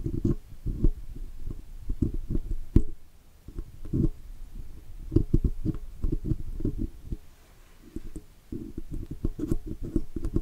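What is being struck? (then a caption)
Chrome-plated metal badge on a microphone body. A steel pick hooks and scratches inside the letters and oval rim of a chrome 'Blue' logo badge on a metal microphone body. The sound is a dense series of short, dull, low scraping ticks and rubs that come in bursts with brief quieter gaps. Faint bright clicks sit on top.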